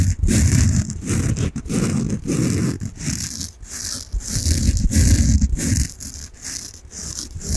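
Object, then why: Foam bath sponge. A peach foam bath sponge held close to the mic is rubbed and scratched with nails and fingertips. The result is a steady, uneven stream of deep, muffled rubbing with a strong low rumble, threaded with bright scratchy hiss. The scraping comes in quick, irregular strokes that fade and return.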